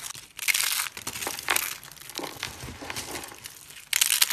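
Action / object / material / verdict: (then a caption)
scrape / soap shavings / soap / none. Thin, dry white soap slices and flakes, brittle solid pieces, are crushed and rubbed between the palms and fingers. The result is bright, crisp crunching and crinkling in uneven bursts, with louder surges near the start, around the middle, and at the end.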